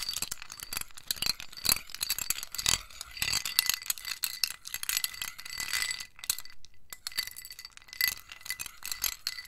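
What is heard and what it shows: A metal spoon stirs ice cubes in a small white scalloped ceramic bowl held in hand, knocking the ice against the ceramic walls. Bright, glassy clinks and rattles come in a steady, dense stream with a high ringing tone, pausing briefly near the end before resuming.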